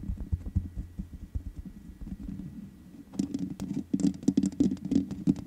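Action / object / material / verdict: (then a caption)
tap / metal mesh microphone grille / metal mesh / none. Long nails tap the black metal mesh grille of a large USB condenser microphone with a hollow head. For the first three seconds there are soft, muffled, low taps and scratchy patter, then the tapping turns louder, quicker and brighter. The taps are short and dry, coming in an uneven run with no ring after each.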